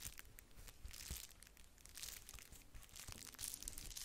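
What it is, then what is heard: Plastic bubble-wrap mailer envelope. A flat pink-red plastic bubble-wrap padded mailer envelope is scratched and tapped across its bubbles with long nails. Soft, bright crinkling and crackling plays in quick, overlapping bursts with faint low thumps from the taps.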